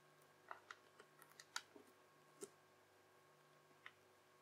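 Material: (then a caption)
Slime. A yellow plastic knife edge is pressed down again and again across a translucent teal, bubbly crunchy slime strip lying on a white surface. It makes quiet, crisp crunches and bright crackles at an uneven pace, each dying away almost at once, over a faint steady background hum.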